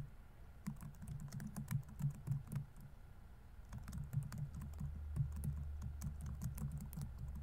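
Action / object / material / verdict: tap / plastic laptop keyboard / plastic / none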